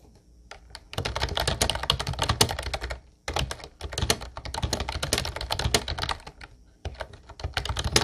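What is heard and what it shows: Both hands type with their fingertips on a mint-blue plastic Ubotie retro typewriter-style keyboard with round white keycaps. Rapid, bright plastic clicks with a low thud under each keystroke come in three dense bursts, separated by two short pauses.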